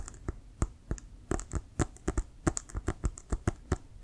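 Fingertips and nails tap rapidly on a hollow, inflated Wilson brown leather American football. About 21 quick, separate taps are heard, each a short, dull low thump with a faint bright click that dies away almost at once.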